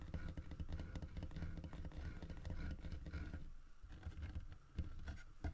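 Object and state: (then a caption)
Carved wooden bear statue. Fingertips and nails tap and scratch a large, solid carved wooden bear statue holding a painted wooden fish in its mouth, moving over the carved body and the fish. The result is a dense run of soft, dull, low-pitched knocks with very short decay, mixed with faint scratchy rustling.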